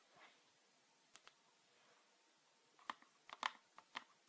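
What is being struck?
Plastic bottle with liquid.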